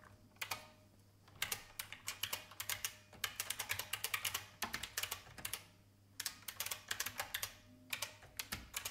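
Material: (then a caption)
Plastic. Fingertips with long painted nails type on an old, full-size beige IBM plastic mechanical keyboard with a hollow case. Quick, bright, clacky taps come in bursts separated by short pauses, each snapping off almost instantly over a faint low hum.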